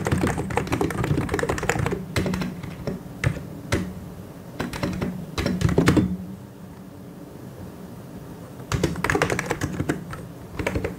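Dense two-handed fingertip typing on a white and grey plastic mechanical keyboard produces rapid, clacky key strikes with a low thocky body. A quieter pause near the middle breaks up bursts of typing, which then resume toward the end.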